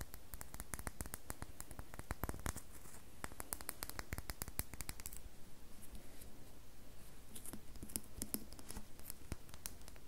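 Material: Soap.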